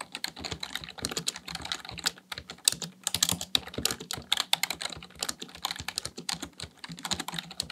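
Fingertips type rapidly on a black plastic full-size computer keyboard resting on a desk. A fast, steady stream of bright, dry key clicks and clacks dies away instantly, over a faint low hum.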